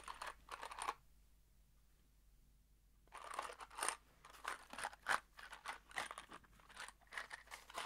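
A small, hollow kraft cardboard box holding screws is held in one hand and shaken so the screws rattle inside. Quick bursts of dry, bright clattering come in the first second, then a pause of about two seconds, then a steady run of uneven shakes that fills the rest of the clip.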